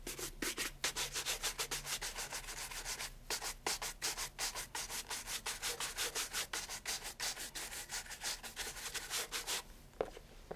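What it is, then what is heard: Leather loafer being brushed. A brown pigskin leather loafer fitted with a wooden shoe tree is held in hand while its upper and leather sole are brushed fast with a wooden-backed horsehair shoe brush. About 37 quick, bright, bristly swishes follow in a steady back-and-forth rhythm, with a brief pause just after three seconds. The brushing stops near the end, leaving a faint hiss and one last light scrape.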